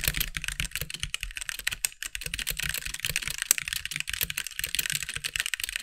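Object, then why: Mechanical keyboard with plastic keycaps. Steady fingertip typing with both hands on a compact backlit mechanical keyboard with white plastic keycaps produces a dense run of quick, bright clacks with very short decay. Each keystroke sounds crisp and high, with a light low thump underneath.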